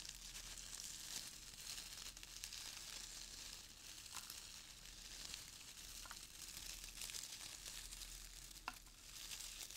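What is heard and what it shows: Fingers rub, squeeze and stir brown crinkle-cut shredded paper filler in a small open cardboard box. The result is a steady, bright, hissing crinkle, broken by a few sharper crackling snaps.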